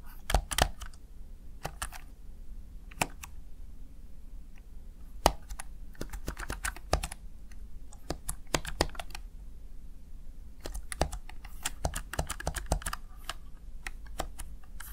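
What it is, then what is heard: Plastic gaming keypad being typed on. A small, hollow, backlit plastic Razer Tartarus Chroma gaming keypad has its keys pressed with fingertips and long nails in typing taps. Sharp, dry plastic clicks and clacks come in irregular bursts and quick runs, each dying away almost instantly over a low, steady hum.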